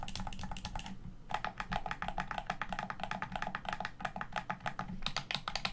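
Fingertips tap the shell of a hollow black plastic Xbox One controller and press its buttons and bumpers. The result is a quick, uneven run of short, dry plastic clicks and taps with a bright edge, over a faint low hum, with a brief pause just after the first second.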